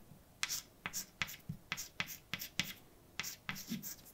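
A hand writes letters with white chalk on a large, dark, flat chalkboard. About 11 quick, bright chalk taps and short scrapes come in uneven bursts, with quiet pauses between strokes and almost no ring after each contact.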